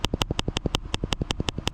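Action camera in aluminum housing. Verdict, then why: Loose. A GoPro Hero 8 is shaken left and right inside an aluminum ND filter housing and bangs around because it sits loose in the case. A rapid, even rattle alternates sharp, bright clacks with duller low knocks. The noise carries into the recording, which counts as a flaw of the case.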